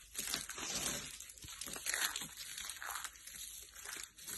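Bare hands with short nails grab and crumble a pile of green and blue dry soap shavings on a purple mat. The result is a steady run of dry, bright crunching and crinkling that swells and eases, with little low end.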